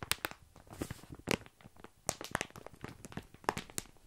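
Fingertips scratch and press a full plastic bag of tiny dry pasta held up close to a microphone. Bright, sharp crinkles and crackles of the plastic come in quick irregular bursts over a soft rustle, each snapping off almost at once with no ring.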